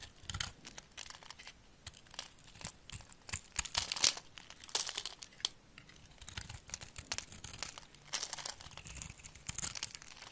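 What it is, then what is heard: Glycerin soap bar being scraped. A solid amber translucent glycerin soap bar, held in the hand, is scored and scraped with a utility knife blade, and flakes fall off. The clip is a rapid series of bright, crisp, crinkly scrapes and crunches, with short bursts rising and falling throughout and little low end.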